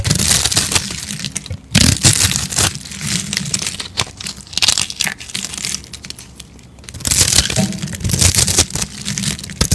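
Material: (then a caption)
Soap. A hand-sized, hollow rolled spiral of dry teal-and-white speckled soap is held in one hand while a metal blade scrapes and cuts into its layers, breaking off crunchy flakes. Dense, bright crackling and crunching comes in loud bursts separated by quieter scraping, over a faint low rumble.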